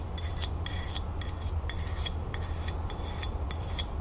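A small glazed ceramic dish shaped like a hand, held in one palm, is scratched and tapped by long nails, with a bead bracelet hanging nearby. Quick, bright rasping strokes and light taps repeat in bursts over a steady low rumble.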